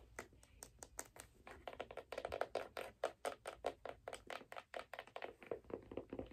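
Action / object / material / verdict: tap / figure skate sole, wood and metal plate / wood, metal / none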